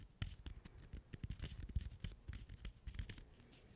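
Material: Cork.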